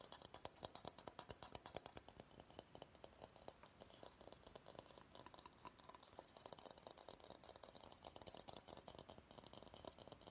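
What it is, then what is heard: Bamboo bowl. Fingernails scratch and tap the curved underside of a medium, empty bamboo bowl. The result is a quiet, steady stream of rapid, dry clicks and scratchy rustling, with a woody tone around 620 Hz and very short decay after each tap.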